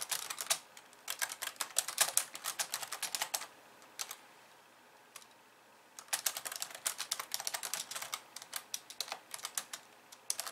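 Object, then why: Plastic computer keyboard. Long painted nails type and tap on a hollow, pink-framed plastic computer keyboard with white keys resting on a wooden desk. Bright, dry clicks come in quick bursts with almost no low end, pausing around the fourth second and falling quiet for about two seconds before the typing resumes.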